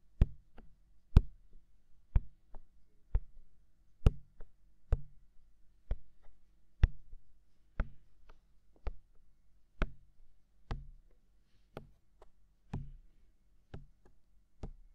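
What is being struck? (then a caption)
Silicone ear of a binaural microphone. Fingertips tap a hollow, mounted white silicone ear of a binaural microphone in a steady run of soft taps, roughly one per second. Each tap is a deep, muffled thump with a brief bright click at its start. It dies away almost at once, with quiet gaps between the taps.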